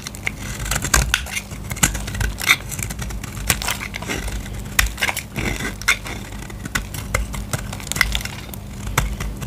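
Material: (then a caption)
Soap. A solid white bar of soap is held in the hand and shaved with a utility knife blade, scraping off dry curls. Dense, dry crackling and crisp scraping snaps repeat throughout, bright and sharp, over a steady low hum.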